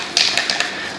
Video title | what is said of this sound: Zinsser Covers Up Stains Sealing Ceiling Paint White WOW IT WORKS | you hear that ball rattling